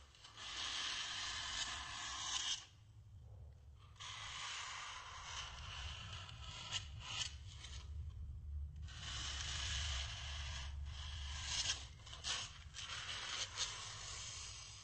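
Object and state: Styrofoam block rubbed.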